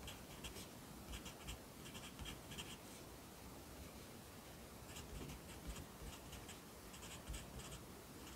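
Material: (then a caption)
Paper. A yellow pencil writes at the bottom of the right page of an open lined paper notebook held by the left hand. Soft, dry scratching comes in short bright bursts in two stretches, over a steady low rumble, all at a quiet, even level.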